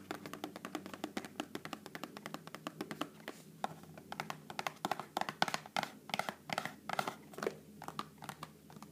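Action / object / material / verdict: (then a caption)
tap / small cardboard snack box / cardboard / none. Long painted fingernails rapidly tap and scratch a small, hollow rectangular cardboard box of Pepero almond sticks, probably still full, held up in both hands. The result is a fast, uneven stream of short, dry clicks and taps with brief scratchy sounds in between, each dying away almost instantly with no ring.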